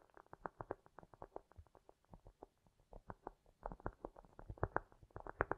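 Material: Cork.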